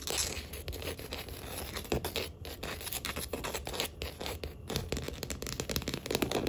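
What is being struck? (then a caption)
Wooden tabletop. Long acrylic nails tap and scratch along the grain of a solid wood-grain tabletop. The result is a dense stream of quick, dry clicks mixed with bright, raspy scraping. The taps stay close together and keep a steady, moderate level throughout.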